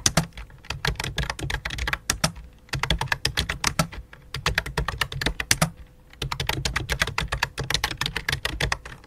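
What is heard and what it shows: Both hands type rapidly with fingertips and long dark nails on a full-size white and light-blue plastic computer keyboard resting on black cloth. Dense runs of sharp, bright key clicks with a low thocky body come in bursts, separated by short pauses. A faint steady mid tone hums underneath.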